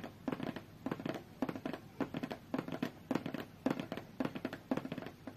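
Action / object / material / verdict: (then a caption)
tap / closed cardboard tablet box tapped with fingernails / cardboard / none. Long fingernails tap rapidly on a closed, hollow, medium-sized white cardboard tablet box. Quick clusters of dry, clicky taps repeat in short bursts with brief pauses. Each tap has a hollow, low-mid body and dies away almost instantly.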